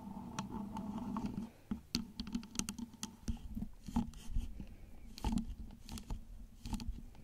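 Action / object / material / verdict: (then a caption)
tap / plastic-shelled flameless LED pillar candle / plastic / none. A tall, glowing orange flameless LED pillar candle with a hollow plastic or wax-coated shell is tapped and scratched all over its surface with long acrylic nails. Quick, dry clicks and taps ring off almost instantly, mixed with soft scraping and a low hum around 200 Hz.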